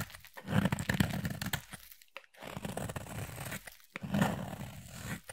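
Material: Soap.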